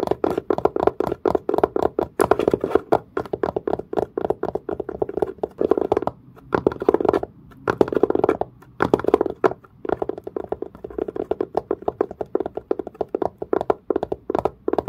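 Fingernails tap and scratch with fast strokes along the grain of a textured, leather-covered case with a dark, grained, leather-like padded surface. The result is a rapid, steady stream of dry, short, mid-pitched taps and scratchy rasps, with a couple of brief pauses near the middle.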